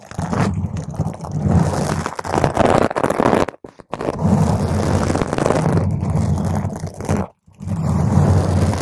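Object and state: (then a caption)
Foam microphone windscreen being scratched. Long green nails scratch the top and sides of a round purple foam microphone cover. The result is a dense, rough, crackling scrape with heavy low-end rumble, broken by two brief silent pauses before the scratching resumes.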